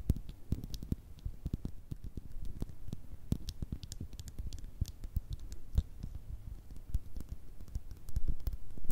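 Long red nails tap rapidly on a small, hollow, partly filled clear glass bottle with a thick base. The result is a quick, irregular series of soft, dull clicks that die away almost at once, with most of their weight low and a faint steady hum underneath.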